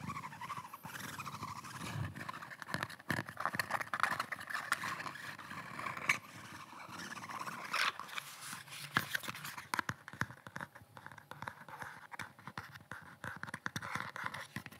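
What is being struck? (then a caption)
Kydex plastic pistol holster. Fingertips and nails tap and scratch the shell of a hand-sized red rigid kydex thermoplastic pistol holster, with a black pistol seated in it, held close to the microphone. A dense stream of quick clicks, taps and raspy scratches fills the clip, bright in the upper mids with almost no ring after each contact.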